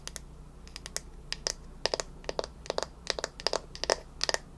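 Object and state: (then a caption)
Bamboo paddle hairbrush. Long nails tap and scratch the smooth wooden back of a bamboo paddle hairbrush held beside the face. The result is a quick, irregular series of crisp, bright clicks that die away almost instantly, over a faint low hum.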